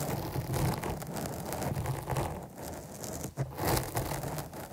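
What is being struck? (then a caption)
Foam microphone windscreen. Long nails scratch the top of a black foam windscreen on a microphone. The result is a continuous, dense rustling and crackling with a heavy low-end rumble, briefly dipping and then swelling again.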